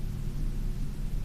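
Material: Nothing is struck.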